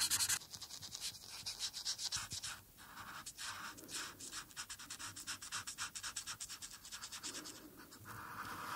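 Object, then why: Felt-tip marker scratching on a paper sheet. A single felt-tip marker rubs and scratches across a thin sheet of white paper lying flat on a dark surface while coloring in the robe on a coloring page. Rapid back-and-forth strokes make a steady, bright, papery scratching with short pauses between bursts.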